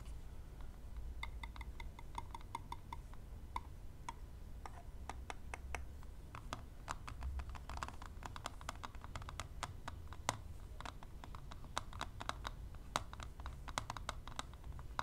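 Long nails and metal tweezer tips tap and scratch the lid of a closed, thin, hollow plastic eyelash extension palette. Quick, light, dry clicks patter in irregular bursts, each dying away almost instantly, with a hollow plastic tone near 1 kHz. A steady low rumble sits underneath throughout.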